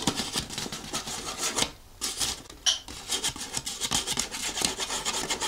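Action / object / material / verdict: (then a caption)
scrape / thin folded paper leaflet / paper / none. A thin, folded paper instruction leaflet is held in one hand while a thumbnail scratches and rubs across it. This makes a bright, dry, rasping scratch with rapid strokes, broken by a short quiet pause near the middle.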